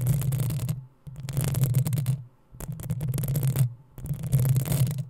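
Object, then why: Metal mesh microphone grille. Long nails scratch the hollow metal mesh grille of a black desktop microphone in four separate bursts with brief quiet gaps between them. Each burst is a dense, rough scraping, heavy with a deep booming rumble under a thin bright hiss.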